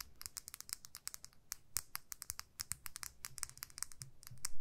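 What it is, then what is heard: Plastic lip gloss tube. Long nails tap and scratch along a small clear plastic lip gloss tube filled with pink gloss, making a rapid run of about thirty short, bright, crisp clicks with very quick decay. A soft low rumble sits underneath, and the level swells near the end.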